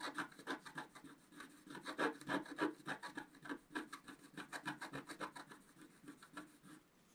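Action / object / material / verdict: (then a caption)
scrape / coated scratch art paper card scraped with a wooden stylus / coated paper / none. A wooden stylus is quickly scratched across a flat scratch art sheet of black coating on paper. Around thirty rapid, rhythmic scratchy strokes, about three or four per second, have a rasping midrange tone with a faint bright edge. The strokes are loudest near the start and middle, then fade to softer strokes at the end.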